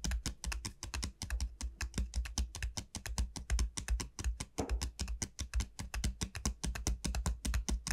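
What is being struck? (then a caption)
Dried bottle gourd shell. Long nails on both hands tap rapidly on the hard shell of the bulb of a large, hollow, dried bottle gourd. The result is a fast, uneven stream of crisp, bright clicks over a deep, hollow low boom. Each tap dies away almost instantly.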